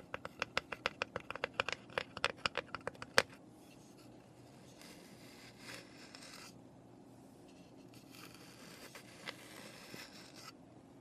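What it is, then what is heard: Unfinished wooden box. Long nails tap about twenty quick, sharp, bright clicks against the edges and sides of a small, hollow, unfinished raw pine box lying on its side, ending on one louder tap. After that, the nails scratch softly over the wood in a quiet, hissy rasp that swells and fades.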